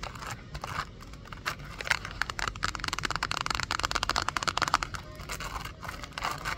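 Long acrylic nails tap and scratch a small, hollow, hand-sized pink printed cardboard toy box held over a shopping cart. Quick, dry, crisp clicks and scratchy rasps run throughout, bright in the upper mids and growing denser in the middle of the clip.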